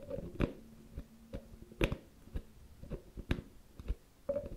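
A medium round white plastic cosmetic cream jar with a teal plastic screw lid is held in one hand while the fingertips and nails of the other hand scratch and tap the top of the lid. Irregular, dull taps with short, quickly fading clicks stand out over a soft, low scratching rustle, all at a quiet level.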